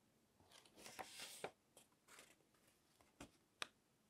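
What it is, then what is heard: Glossy paper magazine pages. A fingertip runs along the edge of a page in an open glossy paper magazine on a table and flips it over, rubbing the glossy sheets together. A bright, papery swish swells and ends in a crisp snap, followed by softer rustles and a final sharp flick. The sound is quiet and high-pitched, with almost no low end.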